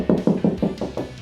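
Six taps on a drywall wall near a window, over a wooden stud, each giving a short, dull thud centered around 200 Hz that dies away quickly. The solid sound marks the stud's location, which had first been found from screws and 16-inch-on-center spacing.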